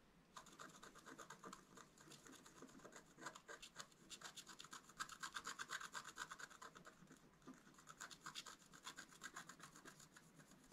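A wooden stylus scratches across a flat, wax-coated scratch-art paper card lying on a table, working near its top edge. The result is a steady run of dry, rasping scrapes that sound bright and papery, each stroke short with little low end.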